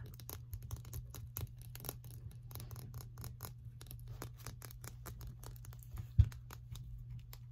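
A small blue plastic highlighter with a hollow body is held in the hands and tapped and scratched with long painted fingernails, making a quick run of light, crisp clicks and scratchy strokes. A steady low hum sits underneath throughout, and one sharper, louder knock stands out near the end.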